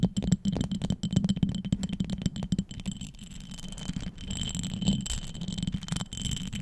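A small amber glass perfume bottle with vertical gold stripes and a small cap is held close to the microphone and tapped and scratched with long acrylic nails. Quick, uneven clicking taps with a soft low thump fill the first few seconds, then give way to a steadier, quieter scratching rasp with faint high glassy ringing.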